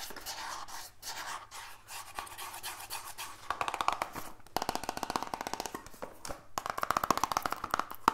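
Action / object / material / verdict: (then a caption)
scrape / small printed cardboard box / cardboard / none. Fingers rub and scratch a small, hollow, black printed cardboard E-liquid box. A soft, papery rubbing hiss comes first, then turns into rapid, dense bursts of dry scratching with a bright, crackly edge. The hollow box adds a light resonance to the strokes.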